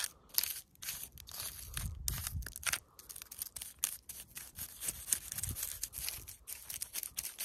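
Long pointed nails scratch and tap a large solid rock partly covered with dry moss and lichen. Dense, crackly bright scratching is broken by quick, sharp taps and a few soft low thumps.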